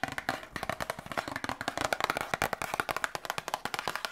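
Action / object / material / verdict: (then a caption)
tap / small printed cardboard box / cardboard / none. A small printed cardboard medicine box, held in both hands, is tapped with long nails and fingertips. About 31 quick, dry, hollow taps with a papery click and a mid-pitched tone, each dying away almost at once, come in an uneven rapid patter that stays fairly quiet throughout.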